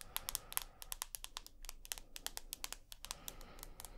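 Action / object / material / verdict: tap / smartphone, glass and aluminium / glass, aluminium / none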